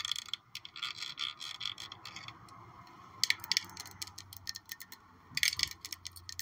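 A black glossy glass perfume bottle shaped like a high-heel shoe with a gold heel is held up and tapped with long nails. The result is quiet, bright, clicky taps in quick bursts and clusters, each dying away almost instantly, with a faint low hum beneath.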